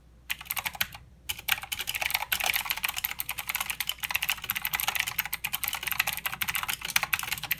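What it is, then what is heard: Plastic mechanical keyboard. Both hands type with their fingertips on a mechanical keyboard with plastic keycaps and blue switches. The result is a fast, continuous stream of sharp, bright clicks with very little low end. There are brief pauses near the start before the typing settles into a dense, steady rhythm.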